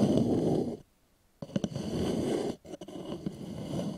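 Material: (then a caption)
Wood. Fingertips and short nails scratch and tap the outer surface of a small, polished, hollow wooden bowl placed upside down. A dry, grainy scratching fills the low-mid range, stops for a brief silence, then resumes, broken by a few quick, short-ringing taps and a second short pause before the scratching continues.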